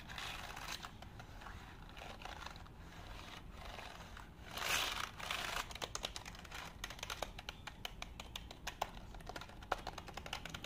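A black plastic computer keyboard is held in front of the face while nails and fingertips tap and type on its keys. Soft, bright plastic clicks sound over a quiet hiss, with a brief louder brushing swell near the middle. After that the clicks turn into a denser, rapid patter.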